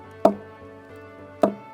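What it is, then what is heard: Hollow palm trunk. A stone knocks twice against the trunk of a Phoenix palm, giving two short, hollow, pitched knocks that ring briefly around a mid tone. The trunk sounds hollow because it is hollow inside, and it grows more hollow as the palm ages.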